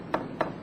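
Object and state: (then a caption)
Hollow (drumming) marble panel. A Carrara marble panel spot-bonded with epoxy is tapped twice, giving two short, hollow, drumming knocks with a mid-range tone that dies away within a fraction of a second. The drumming sound shows the panel is hollow behind, not solidly bonded.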